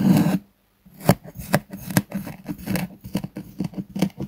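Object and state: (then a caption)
Kinetic sand slab being cut. A metal knife slices diagonally through a solid, flat purple kinetic sand sheet with a pressed pattern, resting on a wooden board. After a brief opening rasp and a pause, about nine short, soft, low gritty cutting strokes follow one after another, each a dull crunchy scrape that dies away quickly.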